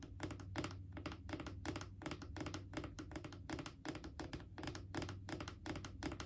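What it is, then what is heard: Plastic wipes canister. A Clorox disinfecting wipes canister, a mid-sized hollow plastic cylinder, is tapped with long acrylic nails. Quick, clicky nail taps come in irregular bursts, each with a short, hollow plastic thunk over a steady low background tone.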